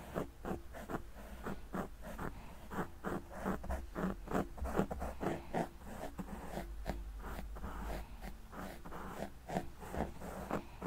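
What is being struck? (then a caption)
Foam microphone windscreen. Two wooden-handled makeup brushes are lightly brushed and swept with their bristle tips across a large, round, black, soft and porous foam windscreen on a microphone. Soft, irregular brushing strokes rise and fade one after another in quick, uneven succession over a steady low rumble. The sound stays close and muffled, with little brightness.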